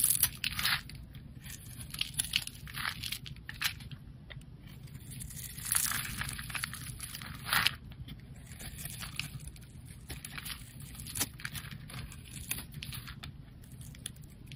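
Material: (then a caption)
Soap. A hand-sized solid white bar of soap with blue and pink streaks, held in one hand, is scraped and shaved with a metal utility knife blade, sending flakes off. Bright, crisp scraping and crackling strokes come in repeated bursts over a steady low hum.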